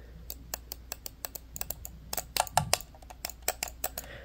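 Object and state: Plastic computer mouse.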